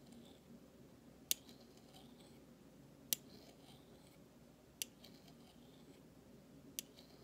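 A large stainless steel spoon bowl of thin solid metal is scraped and tapped with the handle of a flat metal utensil. Four sharp, bright metallic taps ring out a couple of seconds apart, each dying away almost instantly. Between them, a faint, soft scraping murmur sits low under the quiet background.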